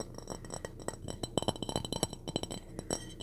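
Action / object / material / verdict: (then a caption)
tap / ceramic dish / ceramic / none. A purple ceramic dish from a thrift haul is tapped repeatedly, giving a quick series of clear, short clinking taps that die away almost at once. The taps come in an uneven rhythm over a soft low background.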